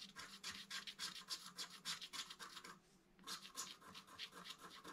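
A wooden stylus scratches along the right-hand motif of a flat black-coated scratch art card held at its bottom edge. Quick, fairly regular bright scratching strokes run steadily, with a brief pause just before the three-second mark, then resume at the same pace.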